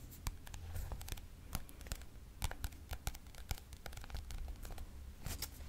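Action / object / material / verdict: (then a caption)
tap / paperback book with glossy card cover / paper / none. Fingertips and nails tap and scratch the turquoise glossy cardboard cover of a thick paperback textbook, a solid block of paper. Quick, dry, bright clicks and scratchy rasps fall in an uneven patter over a low, steady rumble, each tap dying away almost instantly.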